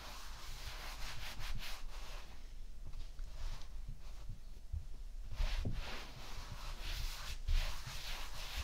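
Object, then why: Kinetic sand on a ceramic plate. Fingertips and flat hands rub and scratch through a layer of tan kinetic sand spread across a white ceramic plate. The result is a soft, continuous gritty brushing with repeated swells of bright hiss over a low, quiet rumble.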